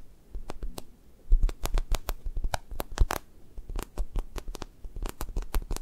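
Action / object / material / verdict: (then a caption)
tap / foam squishy toast toy with a sticky skin / foam / none. Fingertips poke and peel off an orange toast squishy held in the hand, a soft, solid foam toy with a sticky skin, leaving dimples in it. A quick string of sharp, sticky clicks and soft crackles snaps across the clip, each one very brief, over a faint low rumble.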